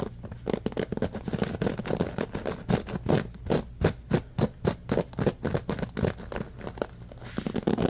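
Fingertips scratch and rub quickly through the wooden-tipped pins and black rubber cushion of a handheld bamboo paddle hairbrush. A fast, uneven run of dry, raspy strokes bursts out at roughly three per second, each with a low, soft thump beneath the scratch. The strokes cut off quickly with almost no ring.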